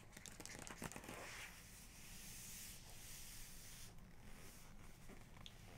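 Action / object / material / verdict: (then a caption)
scrape / glossy printed paper page of a photo book / paper / none. Long nails trace and scratch across the glossy printed paper of a colour portrait page in an open photography book, staying on the same page throughout. A few sharper scratchy strokes come early, then settle into a steady, quiet, hissing rasp across the paper.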